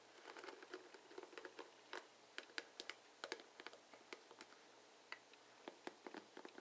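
Fingers and nails strum across the plastic pins of a plastic paddle hairbrush with bristles. The result is a quiet, uneven run of short, dry plastic clicks and ticks with a bright crackle. Each click dies away almost instantly and has no low end.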